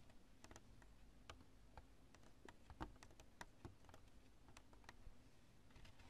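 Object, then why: Cured polyurethane spray foam chunk. Long nails tap and scratch a chunk of cured, expanding polyurethane spray foam with thin strands. The result is a quiet, irregular run of dry, crisp clicks and ticks over a low background rumble, each tick dying away almost instantly.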